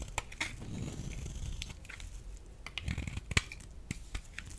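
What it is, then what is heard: Dry laundry soap bar. A solid, rectangular, pale yellow bar of dry laundry soap is cut and scraped with a metal utility blade, breaking off crumbly flakes. Sharp, dry cracks and crunchy scraping sit over a low, soft rumble, with bright clicking edges. Each snap dies away almost instantly.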